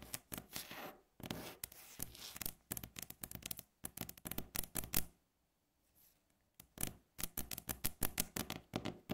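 Long fingernails on both hands tap fast on a flat, solid, light-coloured wooden tabletop, making dense bursts of sharp, bright clicks over a low woody thud. The tapping runs in quick flurries, breaks off into near silence for about a second and a half, then resumes just as rapidly.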